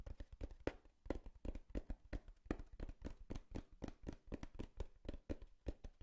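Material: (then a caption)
Cardboard. Long fingernails quickly tap the side panel of a small, empty, hollow brown corrugated cardboard box in a steady patter. About thirty short, dull, hollow knocks follow one another over six seconds. Each knock is deep and boomy with a faint papery brightness and dies away almost at once.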